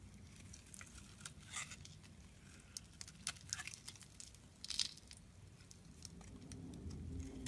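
A solid blue bar of soap is held in the hand and shaved with a metal utility knife blade, peeling off thin curls. Quiet, crisp scraping and crackling strokes come in short bright bursts over a soft low rumble.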